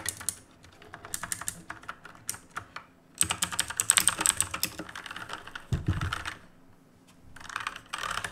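Two hands type with their fingertips on a black plastic and metal mechanical keyboard with plastic keycaps. Rapid, sharp, bright key clicks come in bursts separated by short pauses, with a deeper thud just before the six-second mark. The clicks stop almost instantly, with no ring after each press.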